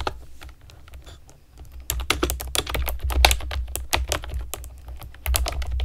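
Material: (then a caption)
Plastic. A pastel plastic keyboard with round keycaps is typed on with long nails and fingertips. Quiet, scattered taps give way after about two seconds to a fast run of louder, bright clicking clacks over a low thump, each key strike short and dry.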